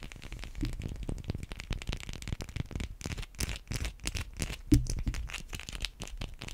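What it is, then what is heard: Bar of soap. Long white acrylic nails scratch and tap on a hand-sized, solid white bar of soap. The result is a steady run of quick, dry, crackly scratches and soft clicks that are mostly low and muffled, with one louder tap near the end.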